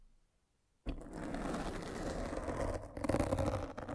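A metal-spiked derma roller is rolled over a black foam windscreen on a microphone. After near silence, a dense, scratchy rolling crackle starts abruptly just under a second in and continues with a heavy low rumble. It swells into louder, rougher bursts in the last second.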